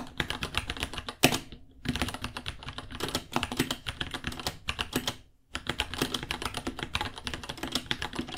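Both hands type with their fingertips on a small white 66-key mechanical keyboard with Gateron Brown switches, white plastic keycaps, a hollow case and pink underglow, resting on a white desk. The result is a rapid run of bright, clacky plastic key taps with short, dry decays. The typing pauses briefly around 1.5 and 5.3 seconds.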